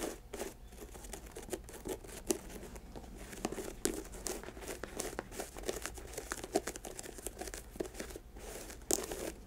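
Long acrylic nails scratch and tap the laces and toe box of an empty white leather Nike sneaker resting on a lap. A steady, dry crinkling scrape runs throughout, broken by sharp, bright clicking taps that stop instantly without ringing.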